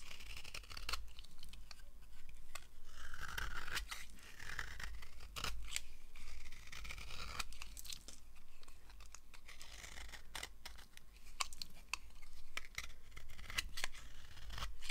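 A thin, solid yellow oval slab of dry bar soap held in the palm is carved with a red-handled knife blade, shaving off crumbling pieces. Dry scraping and crisp tearing crunches repeat through the clip, with sharp bright clicks as shavings break away over a low steady rumble.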